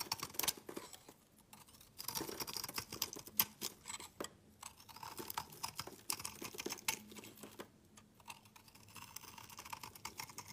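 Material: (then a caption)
Soap. A steel utility knife blade scrapes and shaves flakes off the face of a solid, hand-sized bright green bar of soap with a shiny patterned outer layer. Dense bursts of crisp, bright scraping and crackling come in short runs separated by brief pauses, each sound dying away almost instantly.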